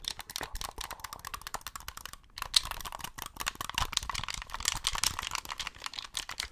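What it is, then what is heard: Plastic game controller. Fingertips press and click the buttons and triggers of a hollow white plastic Xbox gamepad held close to the microphone. A rapid, steady stream of short, sharp, bright plastic clicks and clacks follows, with a brief pause just past two seconds before the clicking resumes.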